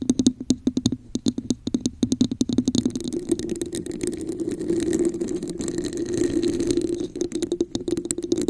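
Long nails tap the top of a hollow red textured plastic cup turned upside down over a microphone, making quick hollow knocks with a low resonant ring. From about three seconds in, the nails scratch along the textured sides, and the sound becomes a dense, continuous raspy scraping over the same hollow hum before sharper taps return at the end.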